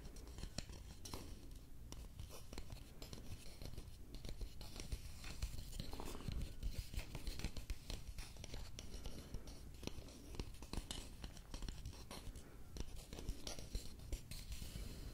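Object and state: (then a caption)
Wooden dowel stick. A long, thin, solid wooden dowel resting across two microphones is tapped along its length with the fingertips and nails of one hand. The result is a quiet, continuous run of short, dry, woody taps and light scratches, with a soft low thud under each contact and faint bright clicks from the nails.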